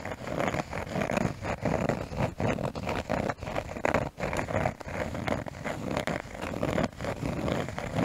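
A small brown cork piece, held close to a microphone, is scratched with fingernails. The result is a dense, raspy scratching in short, irregular strokes with brief gaps, its energy centred in the low-mid range.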